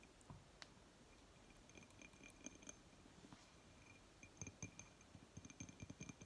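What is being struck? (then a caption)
Glass object. Fingertips tap on a glass object at a quiet, close level. Light taps produce short, bright clinks over soft low thumps, each dying away almost at once. The taps are sparse at first, then come in a quicker cluster near the end.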